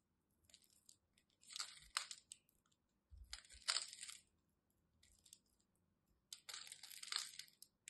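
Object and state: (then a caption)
Bar of soap being carved. A craft knife blade carves into a solid white bar of soap with a grid-scored surface, breaking off crumbly chips. Three main bursts of dry, crisp scraping and crunching come through, bright and hissy with almost no low end. Each burst stops short with no ring, and faint crackles fall between them.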